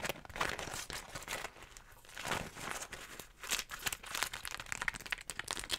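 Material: Waxed cotton.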